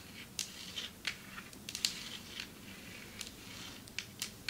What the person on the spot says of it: Long nails tapping on marble table